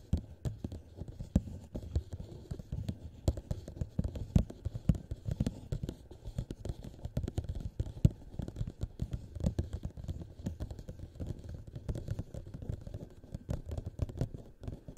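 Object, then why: Thin-walled plastic cup. Both hands tap and scratch with fingertips and nails on the sides of a tall, thin-walled, hollow, empty clear plastic cup set upside down over the microphone. The result is a dense, continuous stream of quick, dull, hollow thumps, each dying away almost at once. The sound is boomy and low, centered around 130 Hz, with almost nothing bright, and occasional sharper taps stand out.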